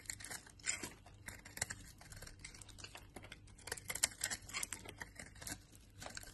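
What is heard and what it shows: The same solid brown laundry soap bar is cut into crumbly flakes with a utility knife blade. It makes a steady, quiet stream of crisp, bright scraping and crackling, with many short ticks and crumbly crunches that rise in small bursts throughout.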